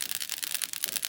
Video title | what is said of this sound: HOW TO - Nail Ink with a Difference #nailart #nails #how #howto | some of them have a little ball in them you'll hear that when you shake it